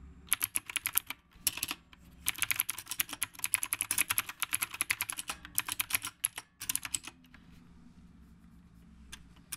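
Fingertips type steadily on a retro typewriter-style mechanical keyboard with round plastic keycaps. Bright, sharp clicks come in quick bursts separated by short pauses, each click dying away almost instantly. The typing thins out after about seven seconds, leaving near-quiet with a last faint click at the end.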